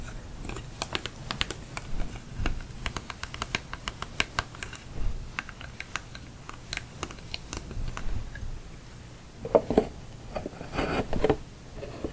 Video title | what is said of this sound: ASMR Tapping *More Santa Box!* | it kind of makes sticky sounds almost that's even though it's a cardboard box it sort of has a plastic type surface